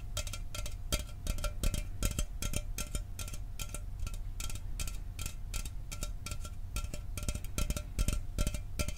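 A hollow aluminum Mountain Dew soda can, held in front of the microphone, is tapped quickly and irregularly with fingertips and nails. The short, dry clicks carry a bright, tinny edge over a low, hollow thump, with a faint metallic ring running underneath.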